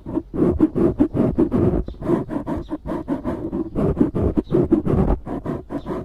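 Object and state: Foam microphone windscreen being scratched.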